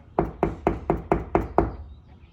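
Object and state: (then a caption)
Drywall over a stud, solid. Seven evenly spaced knocks on a drywall wall over a wood stud produce short, dull thuds that die away almost instantly. The sound is solid, marking the spot where the stud is.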